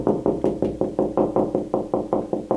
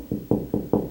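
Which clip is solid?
The first.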